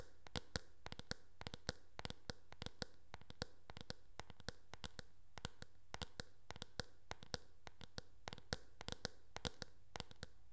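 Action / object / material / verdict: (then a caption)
tap / hard plastic hairbrush back / plastic / none. Long nails tap the plastic back and rim of a teal hard plastic hairbrush held sideways, giving a quick, irregular run of dry, bright clicks that stop almost instantly. A steady low hum sits underneath throughout.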